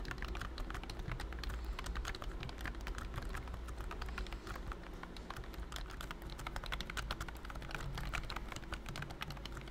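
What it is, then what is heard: Plastic keyboard with silicone key cover. Fingertips of both hands type steadily on a pink and cream BT21 Cooky full-size plastic wireless keyboard with round keys and a hollow body, covered by a thin silicone key skin. A continuous stream of soft, dampened key taps with quick, short decays rides over a steady low hum.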